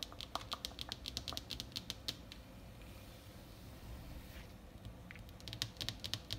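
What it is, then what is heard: Paper world map tapped with nails. Fingertips and long painted nails tap and scratch in quick bursts on a large flat printed paper world map lying on a desk's hard surface. Bright, crisp clicks cluster at the start and again near the end. A quieter stretch of soft scratching over the paper sits in between.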